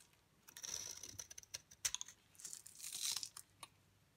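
A utility knife blade scrapes shavings off the face of a solid, dry yellow bar of soap held in the palm. The result is a quiet, bright, crisp scratching, with sustained scraping passes broken up by short dry clicks and crackles, and almost no low end.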